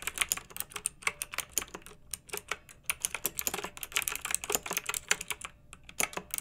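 A hand with long nails types on a pink backlit, typewriter-style plastic mechanical keyboard with round metal-rimmed keycaps. Quick, bright clicky taps with almost no low end come in irregular bursts, with a brief lull around two seconds. Each key strike is sharp and dies away almost instantly.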